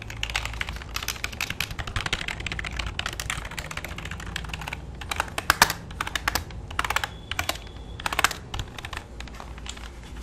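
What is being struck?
Plastic computer keyboard.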